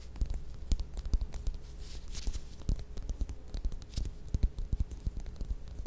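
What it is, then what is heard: Orange, tapped and scratched with fingernails. Long red nails scratch and tap around the textured peel of a small, solid whole orange or mandarin held up in both hands. Quick, dry taps and soft scratching rustles come in an uneven stream, giving low, dull thumps that stop at once, over a faint steady low hum.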